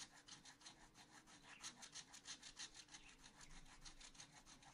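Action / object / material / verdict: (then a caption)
scrape / wooden stylus on coated scratch art paper / paper / none. A wooden stylus scratches a pot area on a black-coated scratch art paper sheet in a spiral notebook with quick back-and-forth strokes. About fifteen bright, rasping scrapes follow one another at a steady, fairly regular pace, each dying away almost at once.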